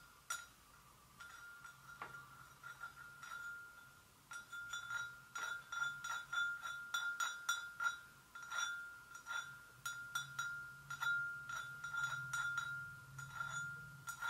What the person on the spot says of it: ASMR GENTLE TAPPING ON PORCELAIN GRAVY BOAT